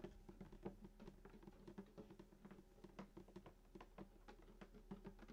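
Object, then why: Wooden acoustic guitar body. Fingertips tap the top of a full-size sunburst acoustic guitar near the bridge; the guitar has a hollow wooden body and a glossy finish. A quick, uneven series of soft, hollow taps each gives a brief woody resonance around 190 Hz that dies away almost at once. The taps sit over a steady low hum.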